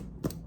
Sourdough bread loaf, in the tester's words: it's quite done sounds hollow when you flick it